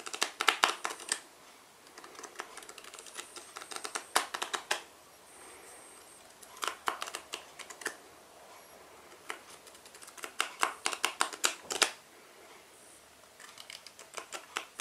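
Fingertips and nails tap and scratch along the sides and edges of a small black cardboard playing card tuck box held in both hands, flap side visible. Clusters of quick, dry, bright clicks and scratchy rasps come in bursts separated by short, quiet pauses. Each tap stops almost instantly, with no ring.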